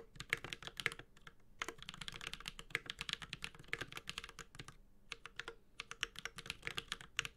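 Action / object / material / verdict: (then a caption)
tap / mechanical keyboard, aluminum case, ABS keycaps / aluminum, plastic / none. A Space65 Cybervoyager 65% mechanical keyboard with an aluminum case, Holy Panda switches and ABS keycaps is typed on continuously with the fingertips of both hands. Rapid, bright, clacky keystrokes with very short decay form dense bursts, with brief pauses just after the first second and around the five-second mark.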